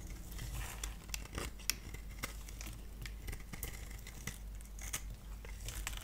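A hand-held solid pale green bar of soap has its surface grid-scored and shaved with a multi-blade cutter. Quick, dry scratching and scraping strokes crackle brightly over a steady low hum, each stroke ending almost instantly with no ring.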